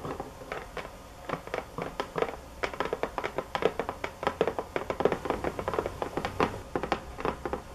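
Fingernails tap on a box hard and fast, producing a rapid, uneven run of short, dry knocks with a hollow mid-range tone. Each tap dies away almost instantly, with a faint low hum underneath.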